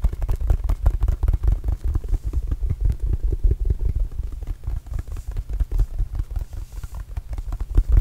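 Fingertips of both hands tap rapidly on a small red and blue Arizona Wildcats rubber basketball, hollow and inflated, held near the microphone. The result is a steady, dense patter of short, dull, boomy thumps, with almost all the sound deep in the low end and each tap dying away almost at once.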